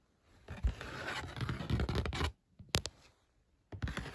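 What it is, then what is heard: Cardboard box. Fingernails tap and scratch across the top of a flat brown corrugated cardboard box or mailer lying on a bed. A dense, dry scratching runs for nearly two seconds, then stops for a few sharp taps and faint scrapes. After a short pause it resumes with a low, papery thud.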